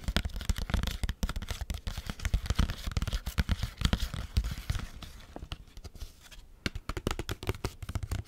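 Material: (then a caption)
Foil laminate. Long nails rapidly scratch and tap the foil laminate surface of a small Capri Sun juice pouch, which has its straw inserted and appears full, working over the back and then the front. The sound is a dense stream of quick, dry crinkling ticks and scrapes with soft low thumps underneath. It eases to lighter scratching for a stretch near the end before the sharper taps pick up again.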